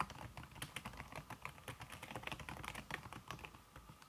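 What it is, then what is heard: Keyboard with silicone key cover. Fingertips with red-painted nails type fast on a slim backlit aluminum keyboard whose keys are covered by a red silicone skin. The result is a quick, steady stream of soft, muted key taps with short, dry decays and a faint steady tone near 1 kHz underneath.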